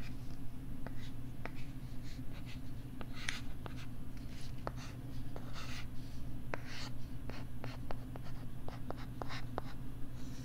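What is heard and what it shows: A flat, thin pink plastic LCD writing tablet, held close to the microphone, is written on and scratched with a plastic stylus. Short, sharp taps and soft scratchy strokes come throughout over a steady low hum. The result is a close, quiet mix of clicks and scratching.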